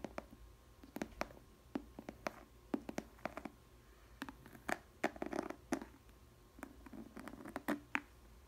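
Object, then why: Glass food container with plastic lid. Long nails tap and scratch the clear plastic lid of a small square glass food container with a green rim and bread inside. Quiet, sharp clicks come in irregular bursts, mixed with short scratchy rasps. Each tap dies away almost instantly, leaving a faint low hum between them.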